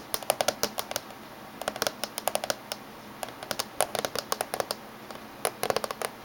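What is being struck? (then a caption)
Closed laptop lid tapped with fingernails. Fingernails tap rapidly in a typing-like pattern on the top surface of a closed silver laptop casing. Roughly thirty short, dry, clicky taps come in quick bursts separated by brief pauses. Each tap stops instantly with no ring, over a faint steady background hiss.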